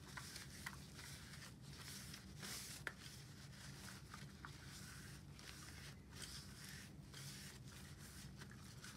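A desktop stapler with a metal top and a black plastic base is held in gloved hands and wiped along its length with a white wipe. Steady, soft swishing and rubbing runs over a low hum, broken by a few brief, sharp ticks and clicks.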